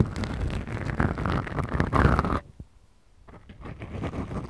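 Long acrylic nail tips scratch two small, soft, porous black foam windscreens on the microphones of a Tascam recorder. The result is a dense, rumbly, low-heavy rustling scrape that stops abruptly partway through, leaving a near-silent pause. The scratching then returns more softly and builds back up.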